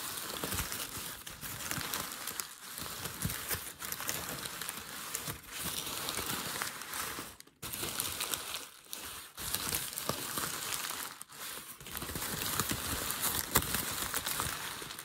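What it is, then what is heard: Crumpled packing paper. Fingers crinkle and rub the folds of a wide, creased sheet of thin grey crumpled packing paper. The result is a dense, bright crackling and rustling that runs almost continuously, broken by a few brief dips in loudness, the deepest around 7.5 seconds.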